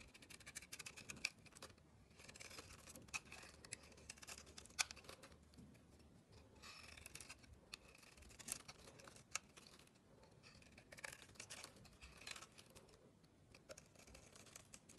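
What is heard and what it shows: A metal blade scrapes the black outer layer off a solid rectangular bar of soap with a white core, held over artificial grass, peeling it away in flakes. The sound is a quiet, bright, crisp scratching made of many short clicks and rasps, with little low end.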